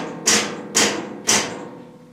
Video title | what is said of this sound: Project Shitshow Is DONE...RZR Pro Xp Fender Delete & Custom Door Reveal + Windrock Prep | everything you're hearing is from the door